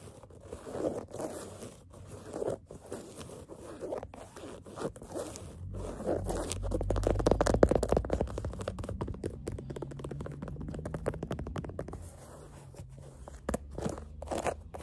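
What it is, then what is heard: Canvas sneaker upper being scratched. Long fingernails scratch the black canvas upper of a sneaker near its metal eyelets and laces. The result is a steady run of quick, dry rasping strokes, swelling into a denser, louder scratching with a low rumble in the middle before thinning out again.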